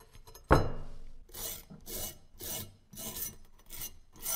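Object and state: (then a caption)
Rusted metal dagger being scraped. Rust is scraped off a solid rusted metal dagger with an openwork handle, held in gloved hands, using a metal pick and a yellow-handled scraper tool. A sharp knock with a short ringing decay comes first, then five separate rasping scrape strokes with a bright, hissy edge over a low rumble.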